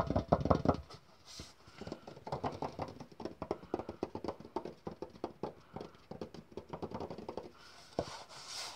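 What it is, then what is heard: Lidded metal tin. A lidded tin with a bird on it is tapped and knocked rapidly with fingers. It produces a fast, irregular run of short, dull knocks and clicks that die away quickly, with a louder, heavier cluster at the very start.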